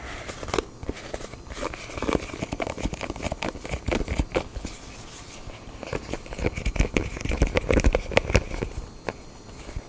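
Fingertips and nails tap and scratch the surface of a small black printed cardboard smartphone box, rigid and hollow, held in both hands. Irregular, dull, low-heavy taps fall in quick clusters among crackly scratching and rubbing, each tap dying away almost at once.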